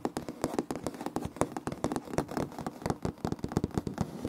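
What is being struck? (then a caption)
Wood laminate floor. Fingertips and short nails of both hands rub and scratch across light wood-grain laminate floor planks, a large flat solid surface. About 25 quick, dry, crisp ticks and scrapes with bright edges sound over a soft, low body, each dying away almost instantly with no ring.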